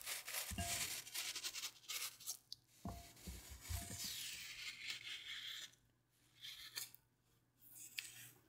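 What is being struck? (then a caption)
Floral foam block cut with a blade. A hand-sized, solid and porous block of wet green phenolic floral foam, already scored in a grid, is held in a hand with long painted nails over a white plate. It is cut, sliced and scraped with a blade that has a red patterned handle. The result is bright, crackly crunching and gritty rasping with a few dull low thumps, as small cubes crumble off into the plate.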